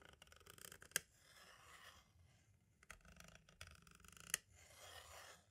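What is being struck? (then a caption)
Plastic audio cassette shell. A green-and-black striped tool traces and scratches across the label and near the window of a hollow plastic compact cassette tape shell. Quiet, bright scratching and rasping sweeps on and off, broken by two sharp, dry clicks that stop almost instantly.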